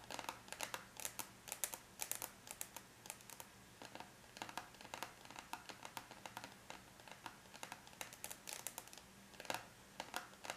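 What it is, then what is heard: Aluminium laptop lid tapped with nails. Long bare natural nails of both hands tap lightly on a closed silver aluminum laptop lid, a flat, thin, hollow-backed metal shell. Quick, bright, clicky taps come in uneven bursts and scattered single strikes, each dying away almost instantly. The tapping stays quiet, with little low end beneath the sharp clicks.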